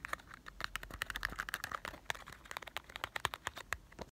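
A small printed cardboard box of Marble chocolates is tapped with fingertips. It gives a rapid run of short, dry, hollow taps and clicks with bright edges and almost no ring.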